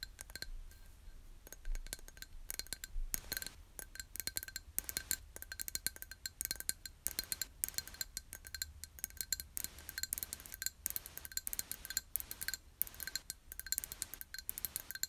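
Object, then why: Small empty glass jar. A small, empty, clear hollow glass jar, held in both hands, is tapped on its sides with long nails. Dense, quick, bright clicks and clinks follow one another irregularly, with a faint steady ringing tone and a low rumble underneath.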